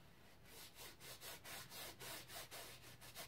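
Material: Cotton canvas.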